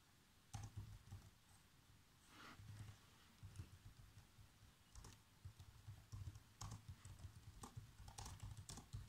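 Bare fingertips with short nails type continuously on a black plastic laptop keyboard. The key taps are soft, quick, and uneven, mostly a dull low thud with occasional brighter clicks. Each tap dies away almost at once over a quiet background.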